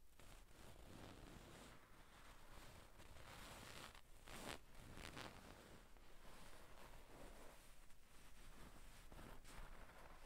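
Long pink nails scratch across a soft, stuffed gold-brown satin damask cushion with tassels, using both hands. The result is a continuous, quiet, scratchy rustle over a low rumble, with brighter swipes standing out midway through.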